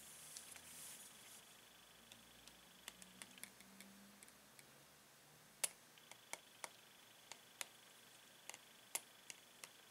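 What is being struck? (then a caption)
Clear plastic blister pack holding pens. A gloved hand holds a five-pen pack of paint pens in a clear plastic blister while a metal pen taps across the blister. Nineteen quiet, sharp, bright clicks ring out at irregular intervals, each dying away almost instantly, with a faint soft rustle near the start.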